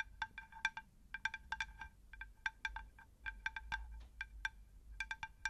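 A round, shallow, plate-sized terracotta pot saucer is tapped with long nails in about 25 quick, irregular taps. Each tap gives a short, bright, chime-like ping with clear tones around 900 Hz and 1.6 kHz that fades almost at once, over a faint low rumble.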